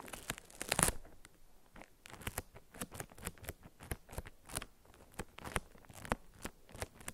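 A paper-wrapped solid soap bar resting on a felt mat is tapped with long acrylic nails, producing a quick run of short, dry clicks and crinkly taps with papery, crunchy edges. The strongest hit comes near the start, then the taps continue unevenly and softly, each dying away almost at once.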